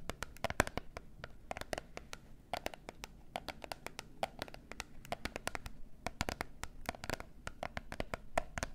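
Long nails rapidly tap and scratch a small gold-and-pink printed cardboard box of peel-off face masks, held in both hands and hollow with its contents inside. Crisp, dry clicks with no ring land in quick, uneven bursts over a soft scratching rustle and a faint hollow low thud from the box.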